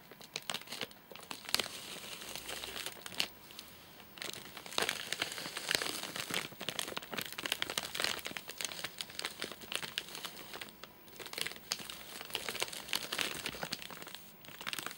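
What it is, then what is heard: Plastic-wrapped nougat bar. Fingertips tap and press the top of a full, flat rectangular nougat bar in a crinkly plastic wrapper, heard close up. Dense, bright crinkling and crackling runs through the clip in busy bursts with brief quieter gaps, carrying almost no low end.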